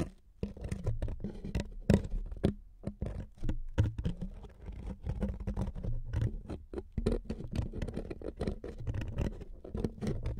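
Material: Wood.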